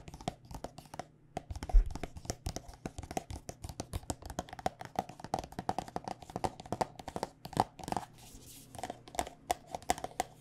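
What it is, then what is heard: Plastic lotion squeeze tube. Long nails rapidly tap a white plastic body butter squeeze tube filled with lotion, making a quick run of sharp, dry clicks. Each tap dies away almost instantly over a faint low hum, with a few louder knocks mixed into the steady patter.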